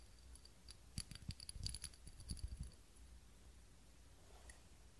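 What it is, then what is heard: Ribbed glass candle holder. Long nails tap and scratch a small ribbed glass candle holder with a lit candle in it. A quick cluster of light clicking taps with bright, thin glassy glints comes in the first half, followed by a quiet low hush and one faint tick near the end.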